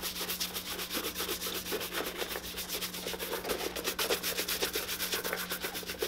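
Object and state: Leather boot being brushed.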